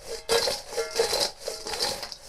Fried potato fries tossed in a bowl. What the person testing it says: You can hear how crispy they are.